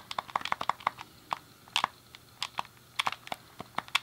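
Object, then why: Plastic game controller. A thumb clicks the D-pad and fingertips press the face buttons on a hand-sized, hollow, grey plastic SNES game controller. About 17 short, dry plastic clicks come in an irregular, quick rhythm. Each has a bright, sharp edge centered around 1.1 kHz and dies away almost instantly, with quiet gaps between presses.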